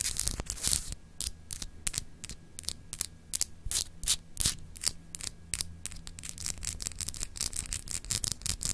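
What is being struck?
Solid glass globe paperweight.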